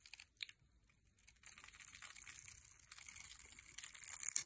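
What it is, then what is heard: Bar soap being cut. A metal blade scrapes and cuts into a solid rectangular teal soap bar held in the hand, breaking the surface into small crumbly cubes. A few sharp crunchy ticks open the clip, then a steady, bright, dry scraping and crumbling rasp builds to a louder cut near the end.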